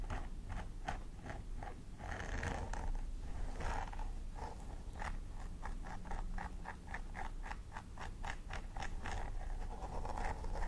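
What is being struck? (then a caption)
Plastic doll head with synthetic hair. A thin wooden stick scratches along the dandruff-flecked parting of a hollow plastic mannequin doll head covered in grey-blue synthetic hair, while a hand with long nails holds the hair aside. Quick, dry scratching strokes repeat in a steady rhythm, each short and crisp, over a constant low hum.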